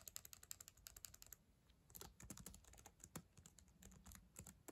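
Long acrylic nails type on the plastic keys of a black ThinkPad laptop keyboard. The result is a fast run of dry, bright clicks and taps with no ring. A short pause after the first burst leads into softer, slightly duller tapping with faint low thuds.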